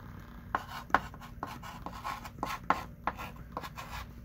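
A hand writes with a thick pink chalk stick on a small wooden-framed chalkboard lying flat, making ten short scratching strokes that tap and squeak near 1 kHz. The soft, irregularly spaced strokes sit over a low, quiet background hum.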